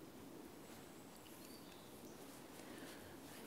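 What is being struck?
Nothing is struck.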